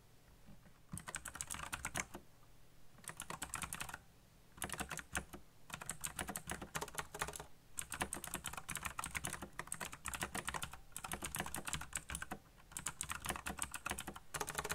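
Fingertips type fast on the keycaps of a backlit black plastic mechanical keyboard. Bursts of rapid, bright clacking keystrokes come in quick runs, separated by brief pauses, each click short and dry with almost no ring.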